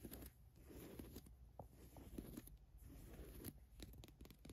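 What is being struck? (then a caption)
Cotton t-shirt with printed logo. Long nails scratch quickly across the printed logo on a black Adidas cotton t-shirt. The result is a quiet, dry, rasping scratch with rapid, brief bursts of crackle over a soft, low fabric rustle.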